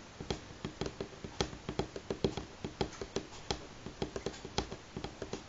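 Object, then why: Pine wooden tabletop. Fingernails of both hands tap on a solid light pine tabletop in an irregular pattern of 21 short, crisp clicks. Each tap is a dry, bright tick with a faint woody tone around 390 Hz, and it dies away almost instantly against a quiet background.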